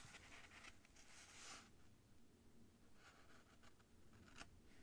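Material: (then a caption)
Paper. The tip of a white feather quill scratches across a thin cream paper sheet resting on a desk in writing strokes. Soft, dry scratching bursts of bright hiss come and go over a quiet, steady low rumble.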